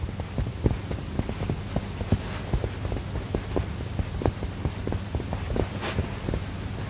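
Fingertips and short nails press, tap and scratch the front of a medium, soft, filled mustard-yellow cushion with a textured woven fabric cover, held against the chest. A steady run of dull, low thumps with a faint fabric scratch sits over a constant low hum.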